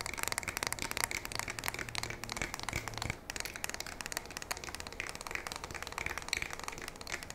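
Long nails tap and scratch the polymer fore-end and receiver of a black polymer and metal pump shotgun held vertically with one hand on the barrel. Rapid, dry, bright clicks and scratchy crackles run throughout, with a faint low hum beneath the first three seconds.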